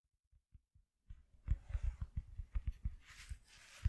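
Fingers tap on a piece of cardboard cut from an empty shoe box, starting with a few faint taps before a run of louder, quick, dull, low thuds with no ring. A soft, high, hissing texture rises under the taps near the end.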